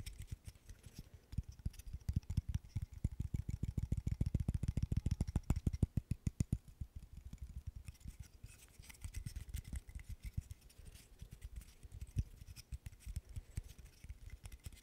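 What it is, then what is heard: Wooden burr puzzle. A small, solid, light wooden burr puzzle made of interlocking sticks is tapped and scratched with fingertips and nails. Rapid, dry, low-pitched taps come in quick irregular runs, growing densest and loudest in the first half. Lighter scratchy taps continue to the end.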